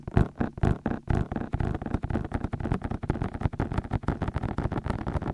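Fingertips tap rapidly on the white, hollow silicone ears of a binaural microphone while fingers grip them. The result is a fast, uneven stream of dull, muffled thumps, heavy in the low end with little brightness, each dying away almost at once.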